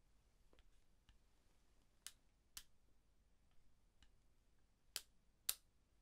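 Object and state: Eyeglasses hinge clicks.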